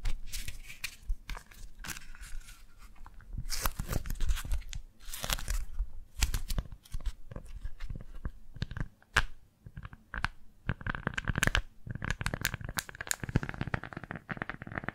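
A pink floral beeswax-coated fabric food wrap, folded into a small flat square and held between both hands, is gripped, pressed and scratched with fingertips and long nails. It gives dense bursts of waxy crinkling and tearing-like crackles with sharp scratchy ticks, rising and falling in loudness over the clip. No speech is heard.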